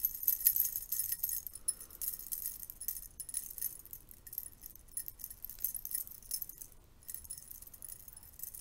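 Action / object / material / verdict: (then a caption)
flick / stack of metal curtain rings / metal / none. A stack of silver metal curtain rings is held in one hand while the thumb and fingers of the other hand flick and riffle across the ring edges so they clink. The result is a continuous, bright, high jangling of many small metallic taps with very short ring, loudest at the start and dipping quieter partway through.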